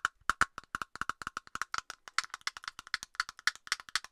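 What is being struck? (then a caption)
Plastic aerosol can cap. A hollow plastic cap on an aerosol can is tapped rapidly with long nails close to the microphone. About 33 quick, dry clicks ring out in an uneven rhythm, each with a hollow pitch near 1.4 kHz and a bright edge, dying away almost instantly.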